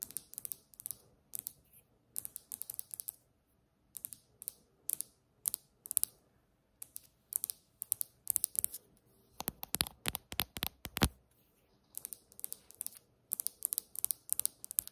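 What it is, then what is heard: Granite countertop tapped with nails. One hand taps a large, solid, polished granite kitchen countertop with long almond-shaped acrylic nails in a fast tapping pattern. The taps are sharp, bright clicks that die away almost instantly, coming in quick bursts separated by short pauses. A denser, louder flurry arrives around the middle before the rhythmic bursts resume.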